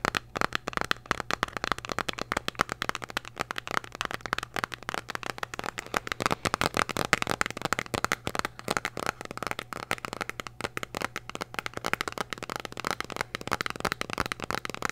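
A small, hollow, red printed cardboard candy box is held in both hands and tapped and scratched with long nails. The result is a dense, rapid stream of dry, crackly clicks and scrapes, bright with a midrange focus around 1.3 kHz. Each tap dies away almost instantly over a faint steady low hum.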